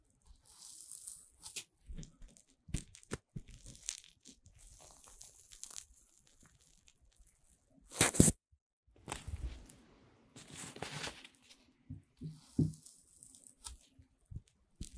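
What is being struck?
Puffed corn-starch foam pieces.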